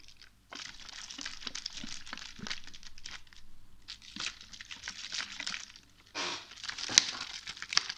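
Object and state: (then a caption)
Plastic water bottle crinkling. A small clear plastic water bottle, hollow and partly filled with water, is held in the hand and squeezed so its thin plastic crinkles and crunches under the fingers. Irregular bursts of bright, crackling crinkle run almost continuously, with a few sharp snaps near the end.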